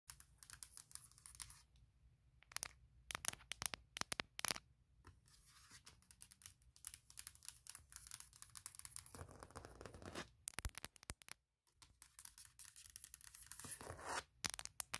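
Long painted acrylic nails tap and scratch across the flat, thin, solid aluminum lid of a closed 16-inch MacBook Pro. Dense, bright clicks and sharp taps mix with stretches of dry, hissing scratches that shift between fast and slow passages.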